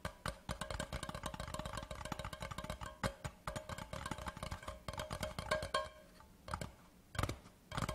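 A large, empty, hollow cardboard Laphroaig whisky gift tube lying on its side is tapped rapidly with the fingertips of both hands along its body. The result is a dense run of dull, hollow knocks with a woody, boxy tone around 617 Hz and very short ring. The tapping eases into a quieter patch near the end before a few louder taps return.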